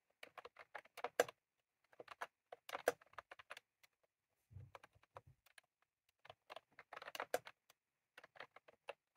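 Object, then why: Plastic mechanical keyboard with round keycaps. Both hands type rapidly with their fingertips on a full-size retro-style plastic mechanical keyboard with round cream plastic keycaps and a plastic case, resting on a desk. Quick, dry, clicky key taps come in uneven bursts separated by short pauses. Occasional duller, lower thumps, likely heavier keystrokes, mix in.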